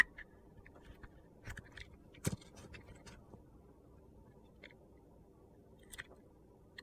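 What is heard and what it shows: A metal utility knife blade slices thin pieces off the edge of a solid orange soap bar with a dark glitter edge, held in a hand. Brief, crisp crunching and scraping snaps with bright edges pop out at irregular intervals over a quiet, low background.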